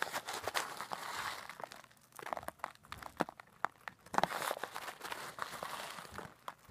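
A clear plastic zip-lock bag, partly filled with coarse pink-white bath salt, is held up and shaken and squeezed with long black nails and fingertips. It gives dense crinkling and gritty crunching with sharp short clicks, in two busy bursts separated by a quieter stretch.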